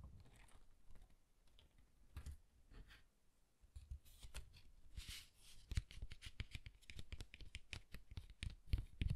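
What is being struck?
Cardstock pop-up card.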